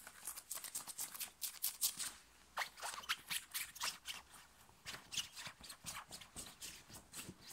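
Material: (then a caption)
Cotton. Fingers scratch and pull the fabric at the chest of a thin, worn, light blue cotton t-shirt, fast and hard. The result is a rapid, uneven run of dry, bright, hissy rasps with almost no low end and a brief pause in the middle of the run.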